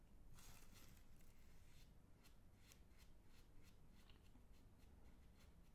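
A sealed Magnum Double Chocolate ice cream bar, about hand length, in a glossy plastic film wrapper with twisted ends, is squeezed, rubbed and crinkled by fingertips close to the ear, then in front of the face. Quiet, steady crinkling and rustling fills the clip with a low rumbling bed. Brief bright crackles flicker through it.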